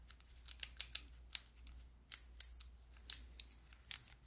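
Long nails press and tap the white plastic keycaps of a handheld fidget toy with a clear plastic frame, producing ten short, bright mechanical clicks at an irregular pace. The first clicks are softer, and the later ones are louder and sharper. Each click is dry and cuts off almost immediately.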